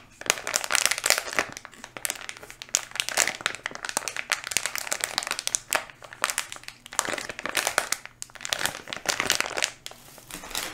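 Fingertips squeeze and rub a small, full-looking red and blue flexible plastic candy wrapper bag held in both hands close to the mic. The result is dense, bright crinkling that comes in uneven bursts of sharp crackles with brief quieter gaps between them.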